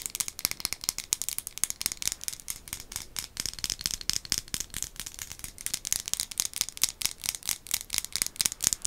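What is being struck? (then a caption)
Glazed ceramic mug. A white glazed ceramic ghost-face mug, hollow and looking empty, is held in both hands and tapped rapidly with long acrylic nails. The result is a dense run of sharp, bright clicks with almost no low end, each dying away instantly.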